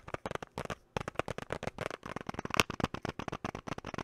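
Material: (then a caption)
Hard plastic. A small clear hard-plastic box with a pink item inside is held close to the mic and tapped and scratched with fingertips and short nails. A rapid run of dry, clicky taps with bright edges comes through, with a brief pause just before the first second before the tapping resumes at a steady pace.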